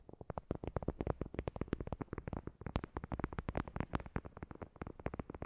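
Long glossy nails rapidly tap and scratch a thin, solid, flat heart-shaped paper board coaster with a printed white surface. About 38 quick, dry, muffled taps follow one another with almost no ring, weighted toward low thuds with little bright content, over a soft scratchy rustle.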